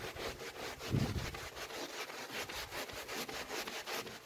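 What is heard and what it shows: A small red wool pile rug covered in soapy foam is rubbed by orange-gloved hands in sweeping strokes. The result is a steady, rhythmic wet scrubbing with bright, hissy swishes and a brief low thump near the start.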